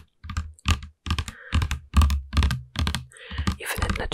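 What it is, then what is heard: Plastic smoothie bottle tapped with nails. A medium plastic (PET) smoothie bottle with a black screw cap and green label, filled with green liquid, is held in one hand and tapped with the long nails of the other. Quick clicky taps come in a loose, uneven rhythm, each with a deep low thud and a bright click on top. Short soft gaps fall between bursts.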